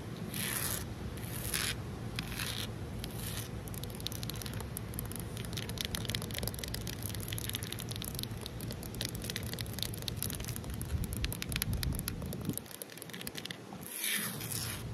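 Long nails tap quickly on a large, solid outdoor concrete ledge, making a dense stream of short, dry clicks with scratchy, squishy texture and bright hiss bursts over a steady low rumble. Around the thirteenth second the low rumble drops away briefly before the tapping and bright bursts continue.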